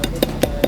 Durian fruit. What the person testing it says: bunyinya udah matang itu. Ini udah matang. Iya. Oh, empuk gitu ya, Kang Bunyinya kayak udah siap makan.